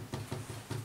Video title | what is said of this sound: Antique Clock Restoration - The Complete Job - Part 1, what does it need? | when you're tapping them you can hear the sort of vibration when there's a loss of glue